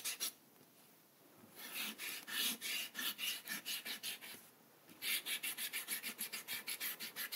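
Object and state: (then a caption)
Eraser rubbing on paper. A white rubber eraser, held between the fingertips, is rubbed vigorously across a spiral-bound paper sketchbook page on a table while the other hand steadies the sheet. Quick, dry, bright rasping strokes come in rapid back-and-forth runs, broken by brief quiet pauses.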